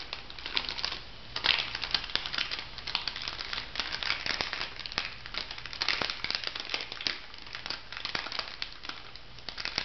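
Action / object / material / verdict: scrape / plastic foil cosmetic sachet / plastic foil / none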